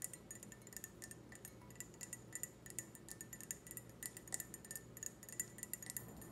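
A clear, empty, hollow stemmed wine glass is held up and tapped with long red nails. It makes a quick, irregular run of light, bright clinks with short ringing tones, over a faint low hum.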